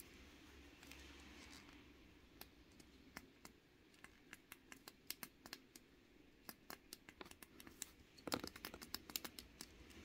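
A small pink plastic fidget cube is held between both hands while fingertips rub its dial and roll and press the bumpy button face. Quiet rubbing and scratching underlie a rapid series of short, sharp, bright plastic clicks with almost no ring, sparse at first and denser toward the end.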